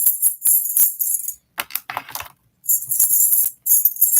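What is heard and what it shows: A chunky sterling silver link bracelet weighing 28.36 grams is handled and jingled, its hollow links giving a bright, rattling jingle. Bursts of crisp metallic shimmer sit almost entirely in the high frequencies, broken by brief pauses and a softer clatter in the middle.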